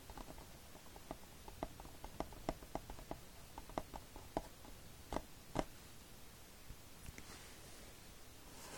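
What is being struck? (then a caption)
Plastic DVD case. Fingertips tap and scratch the glossy cover of a hollow plastic Fullmetal Alchemist DVD case lying flat. The quiet, dry, clicky taps sound near 600 Hz and die away almost instantly, with faint scratching between them. The tapping thins out after about six seconds, and a soft brushing noise rises as the hand leaves the frame at the end.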